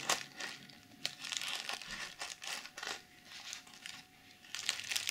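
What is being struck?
Plastic sequin fabric pouch.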